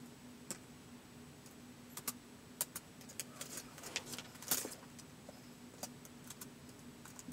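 Fingertips slowly tap the plastic keys of a white polycarbonate MacBook resting on carpet, producing irregular, quiet, bright clicks that die away almost at once. A faint, steady low hum runs underneath, with one slightly louder cluster of taps near the middle.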